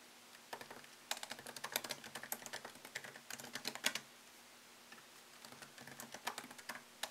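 Fingertips tap the plastic keycaps of a MacBook Pro laptop keyboard set in an aluminium body, typing at a slower pace. Crisp, bright clicks come in quick runs with a short pause in the middle, each tap dying away almost at once, with very little low end.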